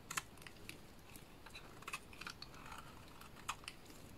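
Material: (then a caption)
Soap. A small blade cuts chunky flakes off the face of a solid lilac bar soap, making quiet, crisp scraping clicks. The short, bright snaps come at an irregular pace over a soft low hiss.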